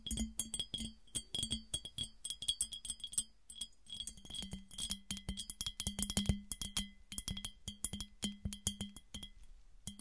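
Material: Glass.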